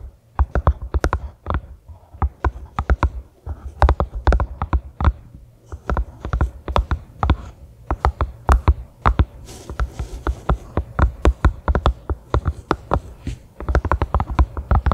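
A small pink silicone collapsible funnel, hollow and empty, rests on a grey carpet and is tapped with long fingernails. Dozens of quick, dull, low taps come in rapid uneven bursts, each with a short bright click on top and almost no ring.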